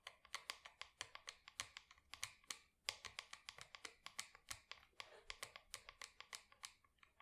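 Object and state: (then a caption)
Plastic plant pot. Long acrylic nails tap rapidly on the side wall of a small matte black plastic pot holding an artificial plant. About 36 crisp, bright clicks come in a quick, uneven run, with a brief pause near the middle. Each click dies out almost instantly and carries almost no low end.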